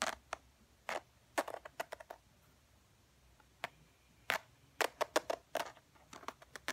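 Long fingernails scratch along the edge and textured surface of a tan faux ostrich leather wallet. The result is a quiet, irregular series of short, dry, bright scratching bursts separated by brief pauses, with no low rumble and no ring after each stroke.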